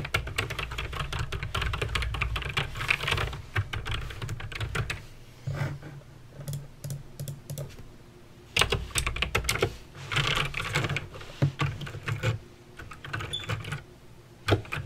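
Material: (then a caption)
Plastic. Fingertips with long nails type steadily on a backlit mechanical keyboard with plastic keycaps and clicky green switches. Rapid, sharp, bright clicks come in dense bursts, easing into sparser taps midway and again near the end, over a low steady hum.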